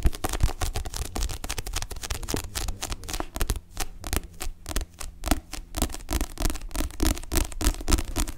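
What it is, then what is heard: Paperback book being tapped and scratched. Long nails and fingertips rapidly tap and scratch the glossy card back cover of a solid paperback book held upright. The irregular stream of short taps mixes dull, low thuds with sharp clicking nail strikes and brief scraping sounds between them.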